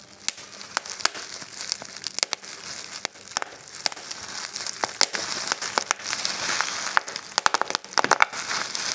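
Clear plastic bubble wrap is gathered between both hands while fingers and thumbs pinch, squeeze and pop the bubbles and crumple the sheet. Sharp, bright pops and crackles burst out irregularly over a steady crinkling hiss that swells and fades. Each pop cuts off almost instantly, with nothing in the low end.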